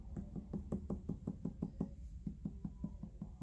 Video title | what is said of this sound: Trimming bowl | you can hear that's thinner